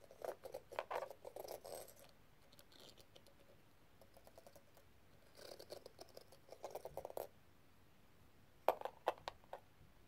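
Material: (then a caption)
Plastic. A thin metal tool tip is scratched across the rows of pink square plastic gems on a small, flat, hollow rhinestone-covered metal case held in the palm. Three bursts of quick, rattly scratching and ticking are heard, each a run of short, bright clicks with a midrange tone. The bursts are separated by near-silent pauses.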